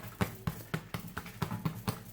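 Nine short, dull taps on the bottom of a freshly baked bread loaf, just tipped out of a silicone mould, to check that it is done. Each tap is a low, hollow thud centred around 100 Hz that dies away almost at once. The loaf sounds hollow, meaning it is baked through.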